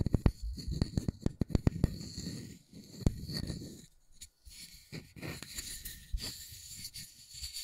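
A round, flat, solid wooden disc about the size of a palm, with a small center hole, is held in both hands close to the mics while fingertips and nails scratch and tap its surface. A quick run of sharp, dry taps rises over a low, rumbling scratch, then settles into softer, scattered scratching and occasional clicks with a faint high hiss.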